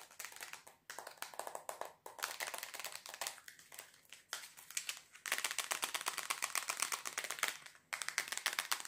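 A small, hollow, rectangular white plastic box made of two cases joined together is held in both hands and tapped quickly with fingernails and fingertips. Rapid, dense, bright clicking comes in bursts separated by brief pauses, with each tap dying away almost at once. The last few seconds are louder and busier.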